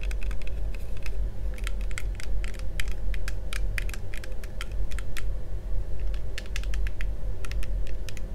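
Fingertips of both hands tap and scratch along the frame of yellow, hollow, thin-walled plastic toy visor sunglasses worn on the face. The result is a rapid stream of short, bright clicking taps, like typing, over a steady low rumble.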